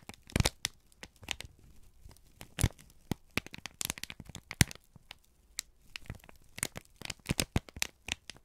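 A folded, crinkled sheet of brown kraft paper is held in both hands and squeezed and crumpled with the fingertips. The result is a dense run of sharp, dry crackles and crinkles that reach high into bright tones. Short snaps stand out over a soft, low rustle.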